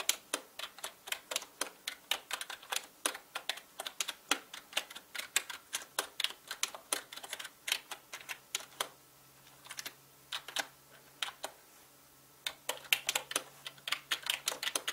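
Fingertips type fast on a full-size black mechanical gaming keyboard with plastic keycaps and a hollow body. Around sixty sharp, bright plastic clacks come in quick runs, each dying away almost instantly with almost no low end. The typing breaks into short pauses just before the 10- and 12-second marks before picking back up.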